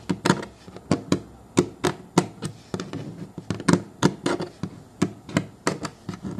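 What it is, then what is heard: Plastic booster seat shell. Fingertips and short nails of both hands tap and scratch the smooth plastic base on the underside of a child's booster car seat, a hollow molded plastic shell with a textured foam rim resting on a wooden table. About two dozen quick, hollow, low thunks with bright nail clicks come in an uneven rhythm, each dying away almost at once, with soft scratching between them.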